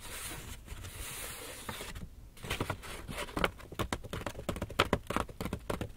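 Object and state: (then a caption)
Empty paper shopping bag. Fingernails scratch and tap on the paper surface of an empty, hollow black Lush paper shopping bag held in front of the body. A steady dry scratching gives way, after a brief quiet moment, to a run of sharp, crisp taps and papery scrapes with a hollow, bright crackle.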